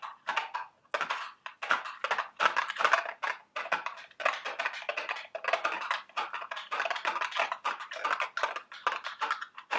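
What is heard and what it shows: Very long, sharp red acrylic nails tap and scratch the sides of a small, hollow, printed cardboard Dubble Bubble eggs candy box held in both hands. The result is a quick, continuous run of dry, papery clicks and scratchy rasps centered around 1 kHz, with brief silences between bursts and almost no low end.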